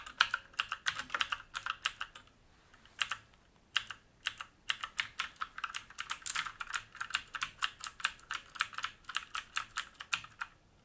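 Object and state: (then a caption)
Mechanical keyboard with plastic keycaps and metal plate. Fingertips type steadily on a black mechanical keyboard with plastic keycaps and a metal top plate, resting on a wooden desk. Rapid, sharp, bright clicks arrive in quick bursts, each dying away almost instantly, with a short pause around the two-to-three-second mark before the typing resumes.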